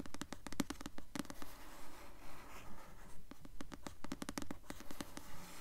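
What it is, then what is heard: Paperback book cover scratched. A paperback copy of the novel *Delirium*, with a glossy paper cover and held upright, has its cover scratched slowly with long nails. The result is a quiet, dry run of short scratchy strokes and crisp ticks that repeat at a steady, rhythmic pace. Each stroke dies away almost immediately.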